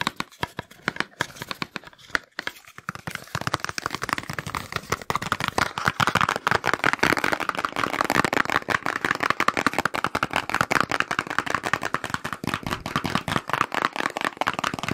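A small, hollow, white printed cardboard box, like medicine packaging, is held in one hand while fingertips and nails tap and scratch its sides. The result is a fast, dense stream of dry, papery taps and scrapes centered in the midrange. It starts sparse and quiet for the first few seconds, then settles into a louder, steady flurry.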